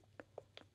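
A full plastic sunscreen bottle is shaken and rattles in four quick, short clicks, as it is supposed to sound when full. A used-up bottle makes no such sound.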